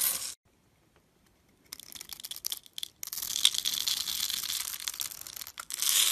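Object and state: Bar soap being scraped and carved.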